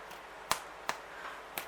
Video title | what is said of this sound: Bacon and Rosemary Damper recipe | Hear that hollow sound? That means it's ready.